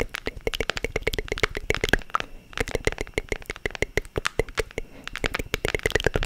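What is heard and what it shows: Long nails scratch and tap along the grooved page-edge ridges and cover of a small, hand-sized wooden book-shaped box. About 39 short, crisp, dry clicks come in quick runs, with a brief pause near the middle. Each click dies out almost at once.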